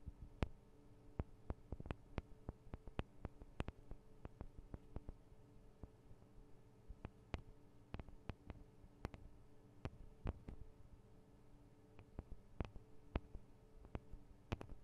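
Long acrylic nails tap and scratch on the sides of the two small hollow metal-and-plastic microphone capsules of a Tascam DR-40 recorder, producing 37 sharp, dry clicks that die away almost instantly. The clicks are scattered unevenly over about 15 seconds above a quiet, steady low hum.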